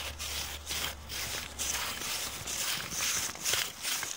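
Long painted nails and fingertips rub and scrunch a torn, crumpled piece of thin brown kraft paper bag with ragged edges. Bright, crisp crinkling rises and falls in loose, irregular bursts, with a faint low hum underneath during the first half.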